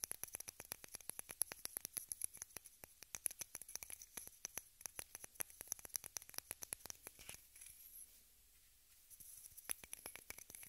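A small rectangular pink plastic case, held upright, is tapped and scratched with long red nails, producing rapid, dense, bright clicks and ticks with a faint scratchy texture. The activity drops out briefly for about a second near the end before the quick tapping resumes.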